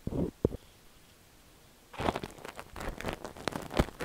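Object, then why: Silicone dummy-ear microphone scraped with a steel ear pick. A thin stainless steel ear pick scratches repeatedly inside the ear canal of a cream silicone dummy-ear microphone. A couple of brief, muffled scrapes are followed by a near-silent pause, then a dense run of close, crackly scratching and rubbing. The sound is low-heavy, with sharp little clicks mixed in.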